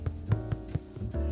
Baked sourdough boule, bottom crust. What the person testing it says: it has a nice hollow drum sound to it, tells me that it was baked correctly